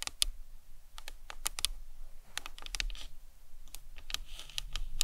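Long nails tap the sides of the cranium of a hollow plastic anatomical skull model in a quick, irregular run of light taps. Each tap is a short, dry, bright click that dies away almost instantly over a faint low rumble.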